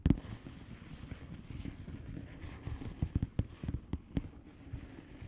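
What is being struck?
Plastic bubble-wrap mailer tapped with fingernails.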